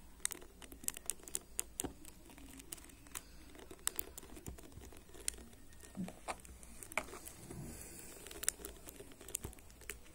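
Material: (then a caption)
Plastic. Fingertips and short nails scratch and flick across the many white ball-tipped plastic pins of a black plastic paddle hairbrush lying on a table. The result is a steady stream of quick, dry, bright ticks and crackly scratches, with sharp clicks popping out irregularly over a faint low hum.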